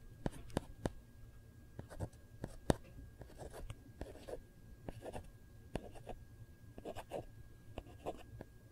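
Long nails trace, scratch and lightly tap the back of a hard plastic Kate Spade phone case. Quiet, sharp taps with almost no ring are scattered among soft, airy scratching and tracing strokes. A faint steady tone and a low rumble sit underneath.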